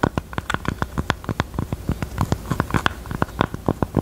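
Long teal nails tap and scratch the top of a small, hollow, hot-pink velvet heart-shaped jewelry box near its small metal button. About 28 quick, soft, dull taps land in an uneven rhythm, each cut off almost instantly, with faint scratching on the velvet between them.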